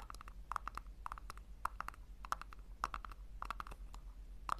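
Long nails tap and scratch the base and sides of a small, hollow pink plastic tub set upside down. The result is a quick, irregular run of light, hollow clicks centered around 1.2 kHz with bright edges, each dying away almost instantly, over a low steady hum.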